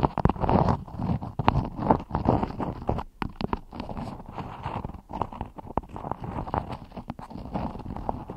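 A hand with long nails scratches and rubs a floral cotton beeswax wrap stretched over a microphone. Close, dense crinkling and scraping comes with a rapid stream of sharp ticks and heavy low-end rumble. Brief quiet gaps break up the sound.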